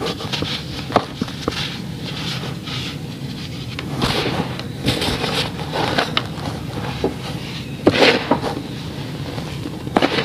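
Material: Sand.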